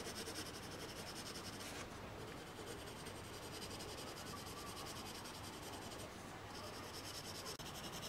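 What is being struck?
Colored pencil on a paper sheet lying on a table.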